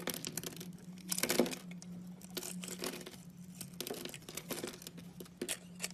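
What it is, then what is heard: Bar soap being carved. A utility knife cuts and scrapes a solid teal oval bar of soap held in the palm, breaking chunks off it. Crisp, dry scraping and crumbly cutting sounds come in short bright bursts, with a louder crunch early on. A steady low hum runs underneath throughout.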